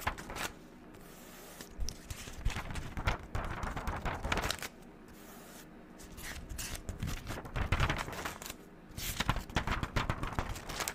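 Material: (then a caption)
Paper. Long neon-green acrylic nails lift and flip the white paper pages of a pink-covered spiral notebook back and forth. Crisp papery rustles, flutters and soft scrapes come in uneven bursts, with brief quieter gaps between runs of page turns.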